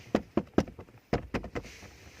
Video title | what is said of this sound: 2018 Proton Iriz Standard Spec Interior Walkaround Review-Part 4 (lastpart) | It's hollow, so basically it sounds very loud